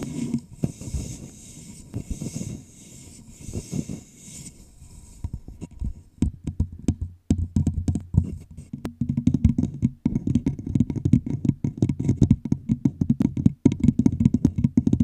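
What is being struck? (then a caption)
Thin plastic bottle. Long pink nails and fingertips tap and scratch a clear, hollow plastic bottle with a red label. Rapid, dry clicking taps with no ring mix with scraping, over a hollow, low-heavy body. A soft hiss in the opening seconds gives way to denser, louder tapping in the second half.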